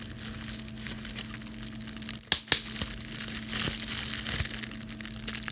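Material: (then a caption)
Plastic. A clear plastic bubble wrap sheet, held in front of the body, is crinkled by the hands while long blue stiletto nails pinch its bubbles. Steady bright crinkling and crackling run throughout, broken by two sharp pops close together near the middle as bubbles burst.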